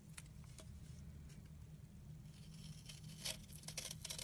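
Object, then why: Bar of soap. A solid, round soap disc with a blue-painted top is held in the hand and scraped with a utility knife blade down to the white and pink soap underneath. Short, bright, dry scraping strokes crackle over a steady, quiet low hum, and a few of the later strokes are louder.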